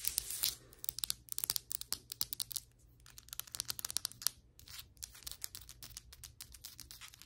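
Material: Ceramic.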